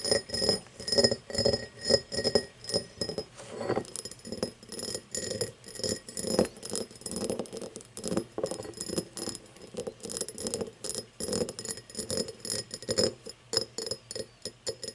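Long nails tap and scratch the thick star-cut base of an empty, hollow cut-crystal tumbler lying on its side. The sound is a quick, uneven run of short, glassy clicks with faint high ringing and dry scraping between them.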